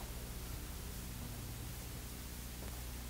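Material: Nothing is struck.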